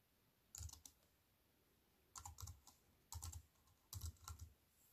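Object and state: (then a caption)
Plastic computer keyboard with metal frame. Slow typing with fingertips and long white nails on a compact plastic computer keyboard with black plastic keys on a silver aluminium frame. Four short bursts of keystrokes, separated by quiet pauses, each pair a soft low thud with a bright, crisp click.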